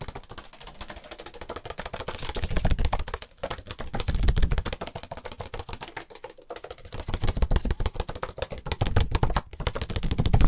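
A small, solid deck of red-backed paper playing cards is held in bare hands while the fingertips and thumb quickly riffle and flick the card edges. The result is a rapid, uneven stream of short, dry clicks and flutters with a soft low thump underneath. The clicking swells louder in bursts and ends at its loudest.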